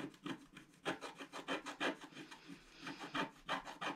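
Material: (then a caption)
Coated paper. A wooden stylus scratches the lower area of a flat, black-coated scratch art paper sheet held in place by hand. It makes a rapid, uneven series of dry, raspy rubbing strokes with a bright, papery texture and very little low end.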